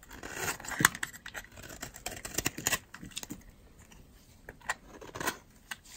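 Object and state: Dry soap bar.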